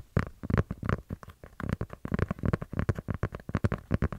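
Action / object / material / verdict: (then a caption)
tap / kraft cardboard notebook / cardboard / none. A kraft-cardboard notepad with colourful and holographic pages is held close to the microphone while long nails tap and scratch it and fingers flick its pages. The sound is a rapid series of soft, low, dull taps and rustling flicks with short rough scratches between them.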